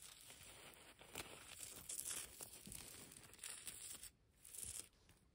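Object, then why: Pile of concrete and plaster rubble. A pile of dry grey concrete and plaster rubble chunks with dust, solid, is scratched and raked with long pastel nails and fingertips. Gritty, bright scraping and crumbly crunching come in irregular bursts. A brief quieter gap near the end is followed by one more rake.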